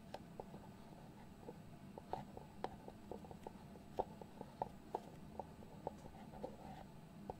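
Fingertips and nails tap and scratch the lid of a small, hollow white cardboard box. The result is a quiet, irregular series of short, dry, hollow taps with almost no ring, set against a soft, steady low background hum.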